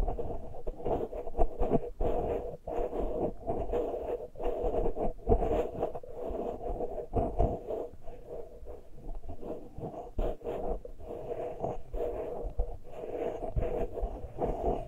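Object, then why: Metal mesh microphone grilles. Fingernails of both hands scratch the uncovered metal mesh grilles of small X-Y microphone capsules on a Tascam recorder. It makes a close, dense run of scratchy, rubbing strokes with heavy low thumps and a steady midrange tone near 680 Hz throughout.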